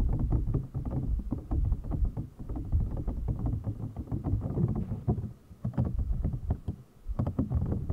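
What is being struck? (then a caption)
Clear plastic packaging box. Fingernails and fingertips tap and rub the top of an empty, clear, hollow PVC toy packaging box. The result is a dense, irregular run of soft, hollow, low thuds and short clicks, with a dull, boomy body and little brightness. Brief quieter pauses break up the steady tapping.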